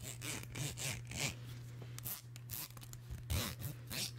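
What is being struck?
Plastic comb teeth.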